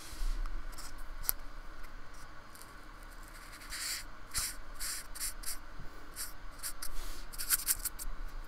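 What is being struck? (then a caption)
Polystyrene foam block scraped with a paintbrush. A paintbrush is scratched and stroked across the bumpy painted surface of a small, flat, solid slab of white polystyrene foam, held steady by the other hand on a wooden table. Quiet, bright, dry scratching and brushing strokes come in short hissy bursts that grow busier toward the end, over a faint low rumble.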